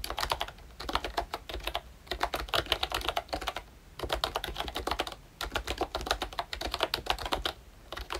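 Fingertips type continuously on a ROYCHE Disney Mickey Mouse pink and brown plastic retro membrane keyboard. Fast bursts of short, bright clicks run in quick runs, broken by brief pauses near two, four and five and a half seconds. The clicks have a soft, dull low thump beneath them.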